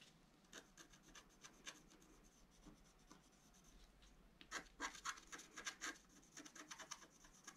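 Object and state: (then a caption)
Scratch-art card being scratched. A wooden stylus scratches the black coating of a flat scratch-art card lying on a table, revealing color underneath. Quick, bright rasping strokes come in uneven bursts, soft at first and then louder and denser toward the end, with no ring after each stroke.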